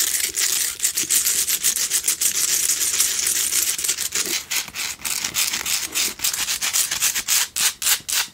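Long nails scratch the rough outer surface of a small hand-held pink Himalayan salt single candle holder, a salt rock tealight holder with a lit candle inside. The result is a rapid, uneven run of dry, bright, gritty scratching strokes with almost no low end, growing more separated and choppy toward the end.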